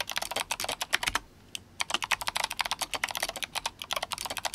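Fingertips of both hands type rapidly on a compact RGB-backlit GMMK Compact mechanical keyboard with Kailh Box White switches and plastic SA keycaps in yellow and blue. Dense, bright clicky keystrokes with sharp, short attacks fill the clip, broken by a brief pause near the middle before the fast typing resumes.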